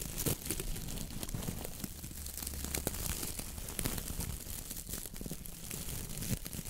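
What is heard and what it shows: Long nails scratch and rub the dry, stiff brown coconut coir bristles of a round dish brush head on a wooden handle. The result is a steady, dense crackling and crinkling scratch with many quick bright ticks over a low, soft rumble.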